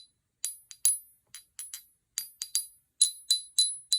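A Lemurian quartz crystal "singer," marked down because of a chip on its face, is tapped thirteen times in an irregular rhythm, especially along its Lemurian lines. Each tap gives a bright, high, glassy ping with clear tones and a short ring. The crystal rings, with a wide spread between its tones.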